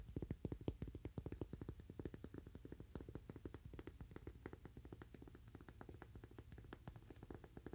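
A toaster-shaped cork coaster is tapped rapidly with fingernails in an uneven rhythm, about two to three taps per second. Each tap is a soft, dull, low click that dies away almost immediately, with little brightness.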